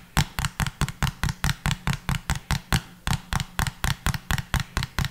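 A small hollow pink plastic bottle with a pink cap is held upright and tapped with the fingertips. About 22 quick, light taps follow in a steady rhythm, each a short hollow tick with a brief crisp edge over a low body that dies away almost at once.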